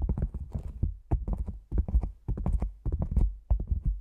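Fingertips and long nails tap on the top edge of an upright, black, padded nylon lens pouch shaped like a hollow cylinder. Quick bursts of soft, dull taps give low, muffled thumps that die away at once, with brief pauses between the clusters.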